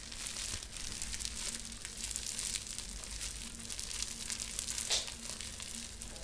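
A sheet of clear plastic bubble wrap is folded and crinkled between the fingers as its bubbles are pressed. The result is a steady, bright, dense crinkling with a faint low hum underneath and a brief louder burst near the end.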